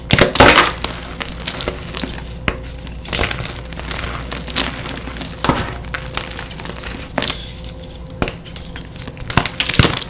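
A pale green-white reformed gym chalk block, solid and brittle and broken into chunks, is crushed and squeezed between bare fingers and palms as powder falls. Dense bright crunching and gritty crackling come in repeated bursts, the loudest near the start, over a faint steady low hum.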